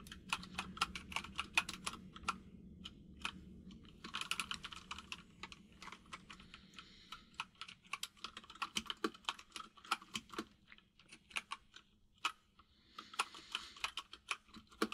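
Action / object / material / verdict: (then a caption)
tap / plastic mechanical keyboard / plastic / none. Both hands type with their fingertips on a compact mechanical keyboard with white and grey plastic keycaps. The result is a rapid, uneven stream of short, bright, clicky key taps with brief flurries of denser typing and a faint tick. A soft low hum sits underneath during the first few seconds.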